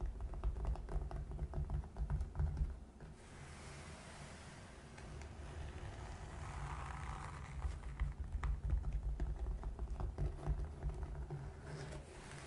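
Long nails scratch a gray felt-covered box while fingertips tap and rub its top. Quick, irregular soft taps with a deep, muffled thud give way to a quieter stretch of steady scratching and rubbing before the tapping returns.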